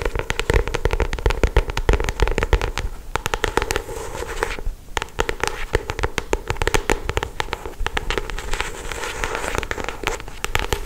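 Long acrylic stiletto nails trace, tap and scratch the glossy paper cover of a solid paperback novel. Quick, dense clicks and crackling scratches run almost continuously for about eleven seconds, easing briefly near the middle before picking up again.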